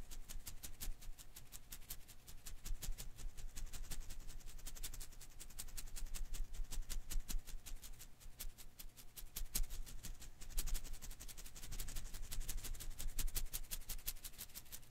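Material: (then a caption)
Rubber. A single blue and green Koosh ball made of thin rubber filaments is held in one hand while the fingers rapidly flick and strum its strands. The result is a quiet, dense stream of short, bright ticking and snapping clicks at an uneven pace over a low, steady rumble.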